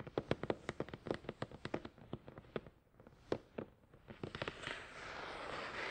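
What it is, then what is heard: Cardboard box. Fingertips of both hands tap rapidly on a hollow, glossy black printed cardboard product box for a Tascam DR-100 mkII, resting on a towel. The result is a quick run of short, dry, hollow knocks with a mid-range body and almost no ring, briefly pausing near the middle. In the final seconds the taps give way to a steady, bright, rising rustling hiss.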